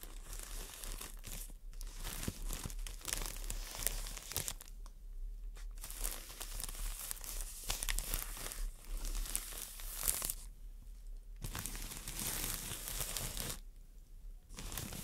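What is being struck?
Floral foam brick in crinkly plastic wrap.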